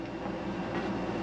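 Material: Nothing is struck.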